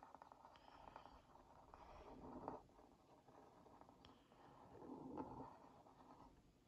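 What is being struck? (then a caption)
Cardboard box scratched with a wooden skewer. The tip of a wooden skewer traces around a printed cookie on a hollow Oreo Mini cardboard box held in one hand. It makes a quiet, papery scratching rasp centered in the low mids. The scratching swells twice, around 2.5 and 5.2 seconds, as the tip circles the cookie.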